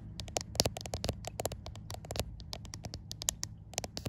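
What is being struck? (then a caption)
Smartphone with glass back. Fingertips and long white nails tap and scratch the glass back panel of a white iPhone. A rapid, irregular run of sharp, dry clicks with bright, crisp highs mixes with brief scratchy crackles, each tap dying away almost instantly. A faint steady low hum sits underneath throughout.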